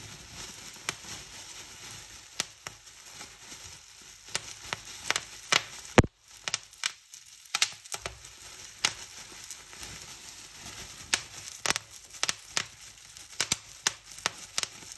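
Fingers with long nails pinch and pop bubbles on a clear plastic bubble wrap sheet held up in the air, crinkling the film between pops. Sharp, bright snaps stand out over a steady, hissy rustle, with the loudest pop followed by a brief near-silence before the crinkling resumes.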